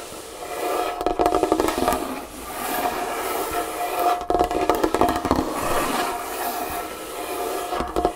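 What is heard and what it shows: Long painted fingernails tap and scratch across a large solid wooden tabletop. Quick, irregular bursts of dry clicking taps mix with a continuous rasping scrape that carries a steady midrange tone. Each tap dies away quickly.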